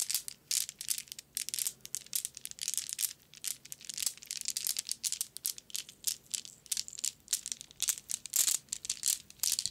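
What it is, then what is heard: Glass marbles in a mesh bag. A small white net bag full of solid glass marbles is held, squeezed and jostled in the hand and fingers. The marbles clack and rattle against each other in a steady stream of bright, crisp clicks and short rattling bursts, with almost no low end. Each click dies away almost instantly.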